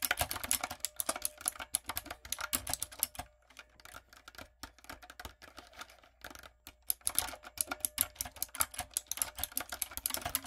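Long coffin nails and fingertips type rapidly on a typewriter-style backlit mechanical keyboard with round brown plastic keycaps on a dark frame. The result is a stream of crisp, bright plastic clicks and clacks, each dying away almost at once. The typing thins to a softer, sparser patter in the middle before picking back up to a fast, dense clatter.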